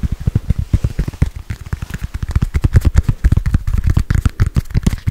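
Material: Foam.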